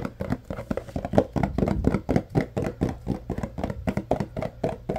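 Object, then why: Paperboard deodorizer box. Fingertips and nails tap and scratch a tall, rectangular yellow Arm & Hammer carpet deodorizer paperboard box, likely filled with powder. The result is a quick, uneven run of dull, hollow taps and soft scratches, about four per second, each dying away almost at once. The sound sits low to mid in pitch, with no bright edge.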